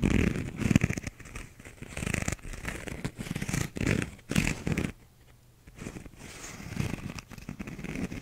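Fingernails scratch a small, hollow, empty cup-sized paper cup with a paper/cardboard inner wall and a blue bumpy plastic outer sleeve, held in both hands. Dense, rough scratching and rustling bursts with a hollow, low-heavy body and some bright edge continue throughout. There is a brief near-silent pause around the middle.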